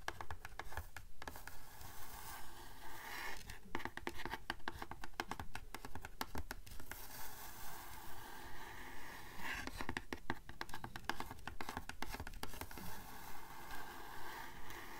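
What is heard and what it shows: Long nails scratch and tap an olive-green, cloth-covered hardcover book board. The result is a steady, rhythmic patter of soft, dry scrapes and taps, about two per second, with most of the energy in the low range.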